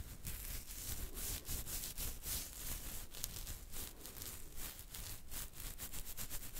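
Fingertips and nails of one hand scratch steadily at the side of the chin through a full beard on the jaw. Quiet, continuous rough scratching and rustling with bright, high bursts on each stroke over a low rumble.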